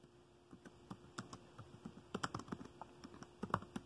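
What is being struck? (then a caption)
Plastic laptop keyboard. Fingertips tap the keys of a dark plastic laptop keyboard while typing, producing an uneven run of soft, short, dry clicks that grow busier and slightly louder toward the end. A faint steady hum sits underneath.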